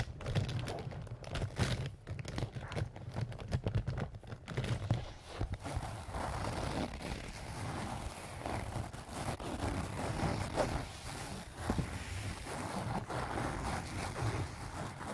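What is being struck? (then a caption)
Soft canvas zip pouch. Fingernails of both hands scratch and rub a small, soft-sided pink-and-white leaf-print canvas zip pouch that appears to be filled. Quick, sharp scratches crackle over the fabric for the first few seconds, then give way to a steady, dense rustling and crinkling. The sound stays soft and low-weighted, with little brightness.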